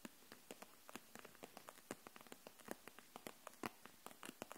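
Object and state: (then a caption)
Plastic marker set in plastic pack. Long nails tap the barrels of a row of plastic felt-tip markers held upright in a clear plastic package. There are 27 quick, light, dry clicks at an uneven pace, each bright and crisp with almost no ring, over a faint hiss.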